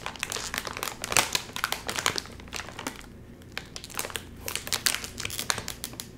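Fingertips squeeze, crinkle and pull at the top seam of a full, sealed Doritos chip bag made of crinkly metallized plastic film. Dense bursts of bright, sharp crackling come in rapid clusters, with a brief quieter lull near the middle before the crinkling picks up again. The bag stays sealed.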